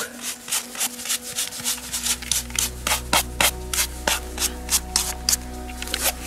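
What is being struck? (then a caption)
Corroded steel canister. A gloved hand brushes dirt and rust off a corroded, closed, hollow steel cylindrical canister about 20 cm long with unknown contents, half-buried in soil at a WW2 battlefield, using a white-bristled brush. About 17 quick, bright, scratchy strokes rasp across the metal at an uneven pace. A steady low hum and faint tonal lines run underneath.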